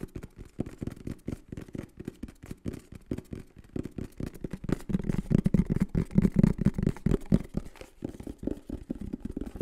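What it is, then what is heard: Cardboard box. A green and black printed cardboard microphone box is held in the hands and tapped and scratched with the fingertips on its faces and edges. It makes rapid, uneven, dull hollow taps, about four per second, with soft scratching between them. The sound is deep and muffled, with almost no bright content, and grows louder and more resonant in the middle before easing off.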